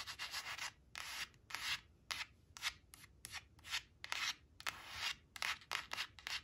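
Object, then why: Coated paper card. Long acrylic nails trace and scratch along the printed 4 on a thin coated paper "4 four" flash card resting on woven cloth. Short, bright, dry scratching strokes come in quick bursts separated by brief pauses, with almost no low end.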